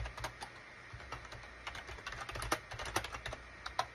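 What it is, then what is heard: Plastic computer keyboard being typed on. Both hands' fingertips type rapidly on a gray SHIPADOO K600 full-size wired USB keyboard with a gray plastic case and cream, gray and orange plastic keycaps. A quick, uneven run of short, dry plastic clicks and clacks is heard, each bright tap dying away almost at once over a faint low, steady hum.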